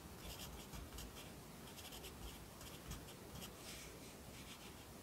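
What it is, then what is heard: Pencil writing on a paper notebook page. A yellow wooden pencil writes steadily on the right page of an open lined paper notebook lying flat on a desk. Its soft, continuous scratching comes in short bright bursts of stroke sounds over a faint low rumble, staying quiet and even throughout.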